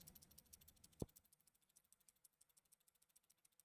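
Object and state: Loose flat round pieces rattling in a plastic stud shooter.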